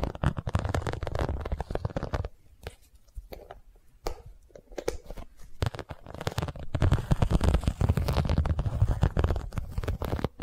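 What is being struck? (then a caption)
Small zippered vinyl cosmetic pouch. Long nails scratch and tap a small hand-held zippered cosmetic pouch of iridescent holographic faux-leather/vinyl with an embossed scale pattern. The result is a dense, low, rumbling rasp of rapid scratches and soft taps. It quiets to sparse taps in the middle, then returns louder and busier until the end.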